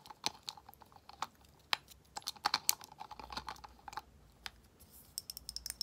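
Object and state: Frosted glass essence bottle tapped with nails.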